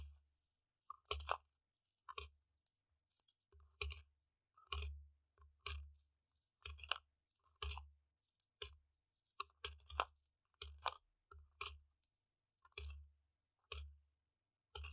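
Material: Plastic.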